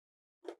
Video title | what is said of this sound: Crispiest Oven Baked Tater Tots Plus Two Tater Tot Recipes | if you can hear how crispy those are